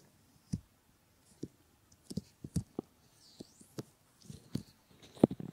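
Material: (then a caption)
Silicone. Fingertips and short nails rub and cover a pair of solid silicone ear models, making a series of soft, muffled, low thumps and brushing rubs. Faint, bright scratchy friction sits above them. Each touch dies away almost at once, with quiet pauses in between.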